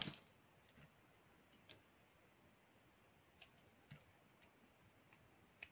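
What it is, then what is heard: Black soap bar shaved with a knife. A small solid piece of black soap held in the fingers is shaved with a metal knife blade. It makes faint, bright, crisp scraping ticks spread over a quiet hiss, with a louder cut at the start and several sharp short clicks after.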